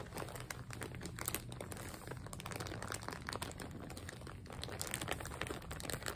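A full, frosted, printed plastic zip bag with a dark soft item inside is pressed, rubbed and crinkled on a table by fingertips and long nails. It makes a steady stream of dense, crackling plastic crinkles with bright rustling edges over a soft low rumble, with no pauses between the sounds.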